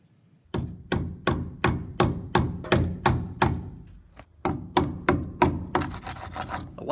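A hammer repeatedly strikes a suspect-looking section of the steel frame rail under the passenger side of the cab on a 1985 Toyota 4WD pickup, where old POR-15 coating is peeling off after more than 10 years. The hits land in a steady rhythm as dull, low, short-decaying thuds, then blur into denser, scrapier knocks at the end. The frame holds up solid and the hammer does not go through.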